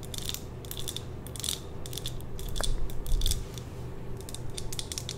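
A small, lit glass jar candle filled with red wax is held in the hand and tapped and scratched with long nails. Quick bursts of bright, clicky tapping and scratching come in irregular clusters over a steady low rumble.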